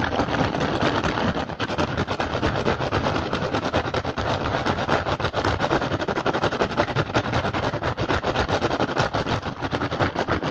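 Fingertips and short nails of both hands rapidly tap and scratch the weave of an upturned, hollow, empty woven rattan basket. The result is a dense, continuous stream of crisp clicks and scratchy rustles at a steady level, with no pauses.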